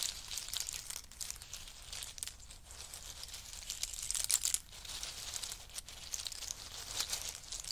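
Both hands press into a pile of in-shell pistachios and rake their fingertips through the shells. The result is a steady, bright rattle of crisp clicks and crunchy shell crackles, swelling to its loudest just past the midpoint before settling back to a dense, even crinkle.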